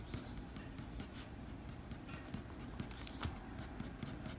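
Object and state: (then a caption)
Pencil drawing on paper. A blue mechanical pencil's graphite tip scratches short strokes along the fur edge on a flat white drawing paper sheet. The result is a quiet, steady run of brief, bright scratchy ticks over a soft low rumble.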